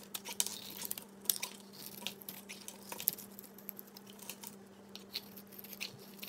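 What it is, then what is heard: Bar of soap being scraped. A solid oval cream-colored bar of soap with a thin bronze outer layer is held in a hand and scraped and carved with a utility knife, sending flaky chips falling off. The clip is a quiet run of short, bright, crisp scraping and crunching strokes over a faint steady low hum.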